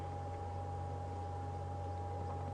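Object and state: Nothing is struck.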